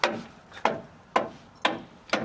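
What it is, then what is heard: Solid rusty steel truck frame. Five sharp, evenly spaced metallic taps on the rusty steel frame or axle area underneath a Dodge Ram, prodded to check for rot. Each tap is a bright, short knock with a brief ring around 650 Hz and almost no low end. The steel sounds solid rather than hollow.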